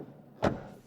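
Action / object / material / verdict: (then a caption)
strike / car rear door / steel / solid. The rear door of a 2024 Dacia Spring Electric is shut with a single low, full-bodied thud that fades quickly. It sounds solid and pleasant, with more body and nothing thin or metallic.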